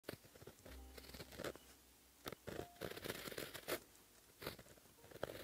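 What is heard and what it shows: A white gel pen held in the fingertips writes Korean letters on a flat sheet of black lined paper. The pen tip gives soft, dry scratches and crisp short strokes, with quiet pauses between them as each letter is formed.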